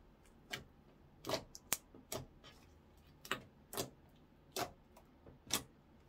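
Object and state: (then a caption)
Orange clear slime. A translucent orange clear slime blob on a wooden counter is folded and poked with fingertips and short nails. It makes nine sharp, bright, wet clicks and pops, each dying away almost instantly, over a quiet background.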